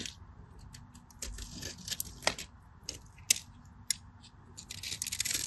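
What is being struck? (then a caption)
Solid bar of soap cut and scraped with a craft knife. A solid cream bar of soap, held in the hand, is cut and scraped with a craft knife so flakes and cubes chip off. Bright, crisp scraping and crackling rise and fall, broken by sharp high clicks as pieces snap away. The sound builds into a denser rasping scrape at the end.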